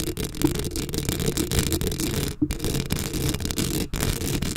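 Long acrylic nails on both hands scratch a black metal mesh microphone head up close. The result is a dense, continuous scratching and rustling that is heavy in the low end, with a faint high hiss. It breaks off briefly twice, at about 2.4 seconds and 3.9 seconds.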